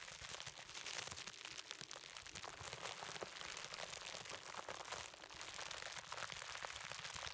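A large roll of clear plastic bubble wrap is held in both hands while fingertips tap, squeeze and pop the bubbles. The result is a quiet, steady stream of dense, bright crinkling and crackling, with sharp little pops rising out of it throughout.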